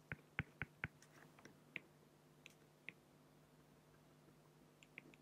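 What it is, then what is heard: Felt-tip pen strokes on acrylic sheet. A felt-tip pen makes short strokes on a flat, clear acrylic plexiglass sheet, producing quiet, bright, clicky scratches on the plastic surface. A quick run of four sharp ticks opens the clip, then scattered softer strokes follow over a faint steady low hum.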